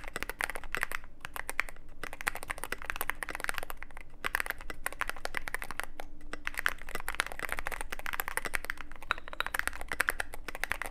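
Fingertip typing on a mechanical keyboard with plastic keycaps and a black aluminum case gives a steady stream of dense, short clacks and clicks. The keystrokes blur into continuous, overlapping taps with a bright presence in the upper mids.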